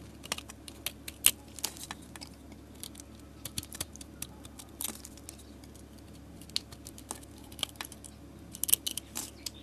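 A metal utility blade scrapes thin flakes off the surface of a solid orange soap bar held in a hand with long nails. The scraping comes as quick, irregular, crisp, bright scratches and clicks that stop almost instantly. A quiet, steady low hum sits underneath them.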